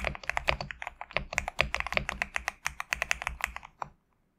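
Fingertips type on a compact GMK67 mechanical keyboard with PBT plastic keycaps resting on a desk mat, producing a rapid, steady run of crisp, bright clacks with a faint low thock under each stroke. The keystrokes stop just before 4 seconds, leaving near silence.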